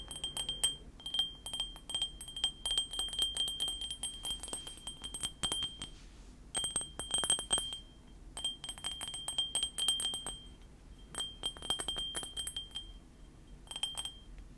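A small, hollow white ceramic mug with cartoon prints is tapped with fingernails while held beside the microphone. Rapid, bright clinking taps come in bursts, with a thin ring around 3 kHz and high overtones that fade almost at once. The taps pause briefly around 6 and 11 seconds.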